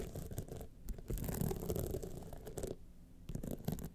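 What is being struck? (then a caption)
Rhinestone-studded clutch wallet. Long nails on both hands scratch down the studded face of a gold rhinestone clutch wallet standing upright. The result is a dense, dry, rasping scratch with a low, rumbly body, coming in continuous bursts. It eases into a quieter lull near the three-second mark before the scratching picks up again.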